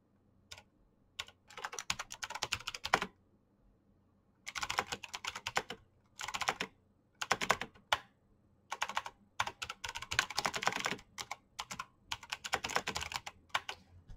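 Fingertips type fast on a black plastic mechanical keyboard with clicky switches. Rapid, crisp, bright key clicks come in bursts separated by brief pauses, with very little low end.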